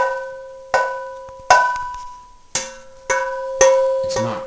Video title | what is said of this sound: Testing for Cracked Cast Iron pans | It has a ring. It's not cracked.